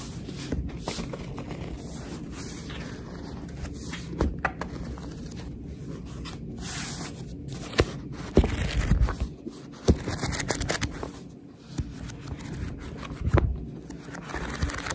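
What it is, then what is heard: Paperback book pages flipped and rubbed. A paperback book with printed paper pages is flipped open and then closed, while long red nails riffle through the pages and rub along their edges. The result is a steady, soft, low rustle and scrape with a few sharper papery snaps and taps mixed in.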